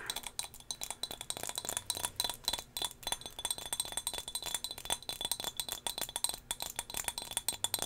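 Long fingernails tap rapidly on a small, solid turquoise glass whale figurine held in the hand close to the mic. Each tap is a quick, bright glassy click with almost no ring, and the taps run in a steady, dense stream of light chinks and clinks.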